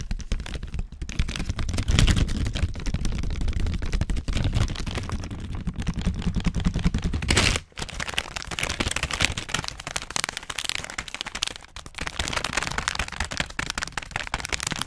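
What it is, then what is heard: Crinkled plastic snack bag. A full orange plastic/foil snack bag is crumpled and crinkled with fingers around the mic, giving a dense, continuous crackle over a heavy low rumble. The crinkling runs steadily throughout, with one brief drop out about halfway through before it resumes with brighter, sharper crackles.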